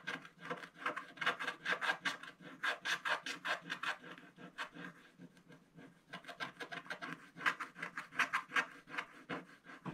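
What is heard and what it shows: A wooden stylus scratches away the black wax coating on a colored paper page of a spiral-bound scratch-art book, near the table and basket area of the picture. Quick, dry, raspy strokes with a bright hiss come in irregular bursts, turn softer and sparser in the middle, then pick up again.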